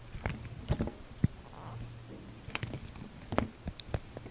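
A utility knife blade carves a hand-held, solid, dark grey-brown translucent soap bar, shaving and scraping off thin curls. Quiet, irregular scrapes and soft crisp clicks sound against a low background hum, with sharp dry transients that stop almost instantly.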